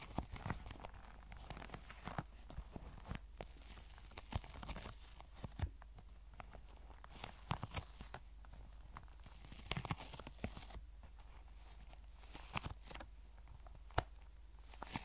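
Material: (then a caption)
Faux leather. Long white acrylic nails scratch and tap along a tan, soft, cylindrical faux leather pencil case that appears to be filled and is held in both hands. The quiet, crinkly scratching is broken by many short, sharp taps with bright edges, over a steady low hum.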